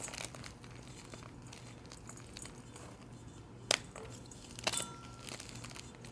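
Bare fingertips with short painted nails squeeze, crush and crumble broken blocks of dyed blue gym chalk, solid and powdery, heaped in a metal bowl, and the crumbs fall back onto the pile. A steady, quiet, bright crinkling crunch runs throughout over a faint low hum. Two sharper, louder snaps stand out near the middle and later in the clip.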